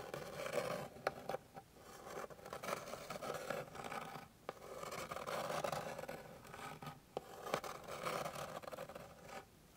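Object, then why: Flat wooden board. Long pink nails scratch and tap across the surface of a flat, solid, light wooden board. Soft, dry scraping strokes swell and fade in repeated bursts, with a raspy midrange texture. Sharp, brief taps click through between them, and each ends with almost no ring.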